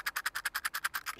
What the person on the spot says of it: it's got lots of individual little um metal plates and the Rope runs through those and you can hear them inside if I shake it